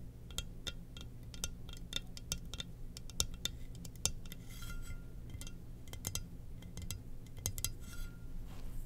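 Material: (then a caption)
Ceramic. A glossy black, hollow, empty ceramic Darth Vader helmet mug, with its lid set aside, is gripped in both hands and tapped and scratched with long nails. Quick, sharp, bright clinks with a faint glassy ring alternate with soft scratchy rasps. A steady low hum sits underneath throughout.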